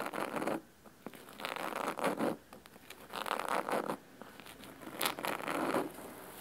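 Fingernails of both hands scratch the cloth cover of a large, solid red cloth-bound hardcover book resting on a wooden table. Four bursts of dry, rasping scratching, mostly in the midrange, are separated by quieter pauses with faint light scrapes and a few brighter flicks.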